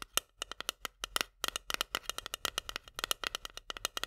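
A long nail taps and scratches quickly on the metal lid and rim of a small, full steel can of corn held tilted. About 30 sharp, bright metallic ticks come in an uneven rapid run, each dying out almost instantly, with a high ring near 2.9 kHz and almost no low end.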